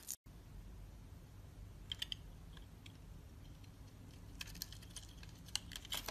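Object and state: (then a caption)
Soap bar being scraped with a blade. A metal box-cutter blade scrapes the dotted surface of a solid oval green soap bar held in the palm. Quiet, crisp, bright scratchy clicks come in short bursts over a steady low hum, peaking around 2.9 kHz. There is a brief moment of silence near the start.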